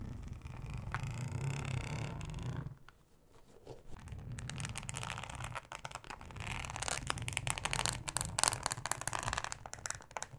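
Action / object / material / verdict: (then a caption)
scrape / thin ribbed plastic cutting mat / plastic / none. Long acrylic nails scratch a thin, flexible, solid yellow plastic cutting mat with a ribbed texture. A steady low rumble runs under a smooth rasp at first, then, after a brief quiet dip, the scratching turns into dense, bright ticking and crackling strokes that grow louder toward the end.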